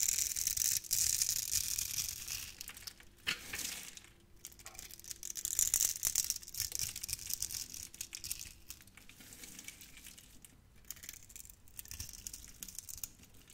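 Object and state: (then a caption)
Soap bar being carved. A utility knife blade carves crunchy cubes from a solid, hand-sized green soap bar scored in a grid. The cutting gives a dense, bright, irregular crackle and crunch with quick scraping strokes. It is loudest at the start and around six seconds, then settles into softer crumbling.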